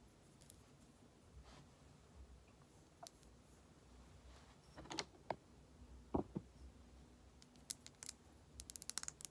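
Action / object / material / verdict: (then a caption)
tap / plastic lip gloss tube / plastic / none. Long acrylic nails tap and scratch along a slim, hollow, matte dark-red plastic lip gloss tube with a clear base, which appears to be filled with product. Sparse, dry clicks and taps with bright, crisp edges stand out over a quiet background, with a few louder knocks in the middle. A quick flurry of light taps comes at the end.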